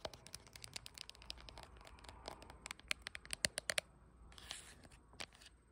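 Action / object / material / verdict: tap / glass back of a phone / glass / none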